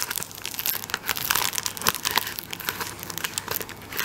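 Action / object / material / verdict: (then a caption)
scrape / tissue paper roll in plastic wrap / plastic film / none. A tissue roll in clear plastic wrap is held upright while fingertips scratch and tap the plastic over its top end. The result is a steady stream of bright, dry crinkling and crackling with quick sharp taps and almost no low end.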